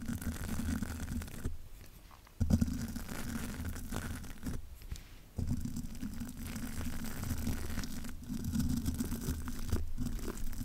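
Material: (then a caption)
Metal mesh. A spoolie brush is brushed and scratched across the metal mesh grille of a large black microphone. It makes a dense, low-heavy scratchy rustle centered around 227 Hz, coming in sustained bursts broken by brief quieter pauses.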